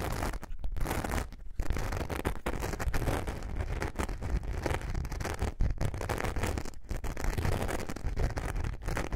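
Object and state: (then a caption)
Glitter foam craft sheet being scratched. Long nails scratch the glittery surface of a thin, flexible glitter foam craft sheet held curved in both hands. The scratching is dense, steady and low, with a rough, gritty texture. It breaks only with a few brief pauses throughout.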